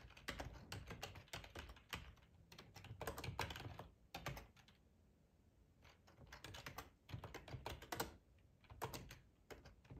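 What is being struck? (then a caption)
Plastic computer keyboard. Fingertips of both hands type on a black plastic ergonomic keyboard, hollow with keycaps, tapping the keys in quick bursts. The taps are short, clicky and bright over a hollow low thump, with a quieter pause in the middle before the typing picks up again.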